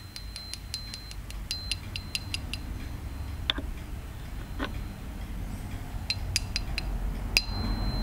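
A tall, solid, clear quartz crystal point standing upright is tapped repeatedly with a small metal tuning-fork-style striker held in the fingers. A quick run of light, bright clicks is followed by a few sparser, louder taps and then another short cluster, each ending almost instantly over a steady low background hum, with a faint high tone lingering between some strikes.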